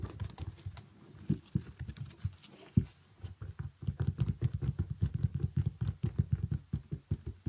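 Fingernails tap and scratch a small synthetic leather kids' boot with a zipper, moving over its sequin panel, toe and sole. Soft, dull, low clicks start scattered with short pauses, then settle after a brief gap into a steady, fast patter of quick dry taps that die away instantly.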